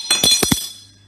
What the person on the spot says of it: hört sich nicht ganz so hell an